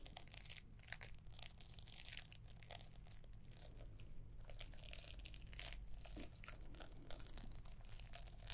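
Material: Paper.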